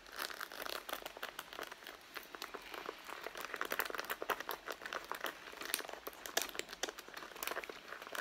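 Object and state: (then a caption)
Leather handbag. Long blue-painted nails and fingertips scratch and tap the pebbled leather front of a medium red handbag with zipper pockets, near a zipper pocket, as it lies on a mat. The result is a quiet, steady stream of dry, crinkly scratching with quick, bright ticks and no low end.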